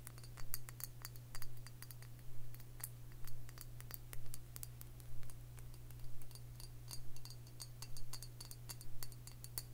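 Long fingernails tap a round glass liquor bottle with a metal cap, filled with dark liquid, while it is held in the hand. Quick, bright, clicky taps come in short bursts roughly once a second over a steady low hum.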